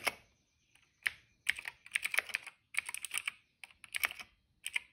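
Fingertips of both hands type on a retro-style mechanical keyboard with a hollow cream plastic case and black, purple and yellow plastic keycaps. About twenty bright, hollow plastic clicks come in uneven bursts, each dying out almost instantly, with short pauses between runs.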